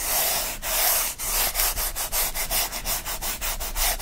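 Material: Cardboard.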